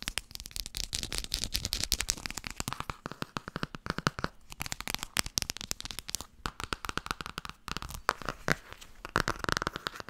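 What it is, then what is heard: Hardcover book. Long nails rapidly tap and scratch the cover and edges of a blue Tarot hardcover book held in the hands. The result is a dense stream of sharp, dry clicks and crackly scrapes with bright highs and almost no ring, continuing steadily throughout.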